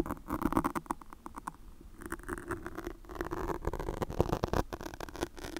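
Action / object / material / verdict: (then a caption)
scrape / foam microphone windscreen / foam / none. Long pointed nails of both hands scratch and pinch a black foam microphone windscreen in fast motions. The result is a dense, crackling patter of soft, close scratches and muffled rubbing that is dark and heavy in the lows, with almost no bright top. Short taps stand out from the steady rustle throughout.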